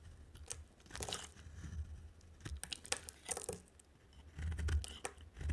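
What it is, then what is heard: Dry soap bar being shaved. A utility knife blade shaves a dry, solid yellow soap bar, leaving curls piled up beside it. Short, crisp scraping and crunching strokes come in uneven bursts, with bright edges over a low, dull rumble.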